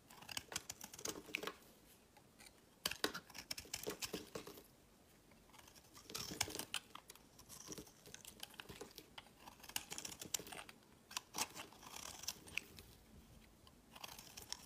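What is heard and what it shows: A hand-held, hand-sized solid grey bar of soap is scraped and carved with a snap-off metal utility knife blade, its flakes dropping onto a mat. Quiet, dry, crisp scraping strokes come in quick bright bursts, each dying away at once, separated by short near-silent pauses.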